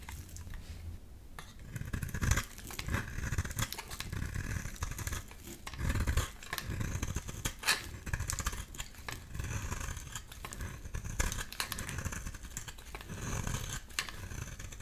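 A metal utility-knife blade shaves long curls off a solid light-blue oval soap bar with an embossed logo, held in hand. Steady, dense scraping carries bright, crisp edges over a heavy low rumble, with repeated stronger strokes standing out from the continuous shaving.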